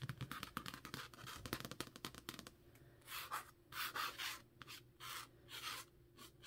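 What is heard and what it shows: A thick, solid Jade City paperback held in hand has its card cover scratched and rubbed with long nails. A quick run of dense, crackly scratches fills the first couple of seconds, then gives way to slower, softer swishing strokes across the cover.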